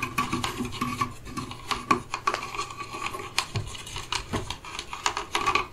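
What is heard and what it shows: Fingertips and nails rub, scratch and tap across solid turned wooden chess pieces, light and dark, sitting in the felt-lined trays of an open wooden chess case. The result is a steady run of dry, bright scraping and soft rasping with many short, quick-fading taps and clicks, over a faint tone near 1.1 kHz.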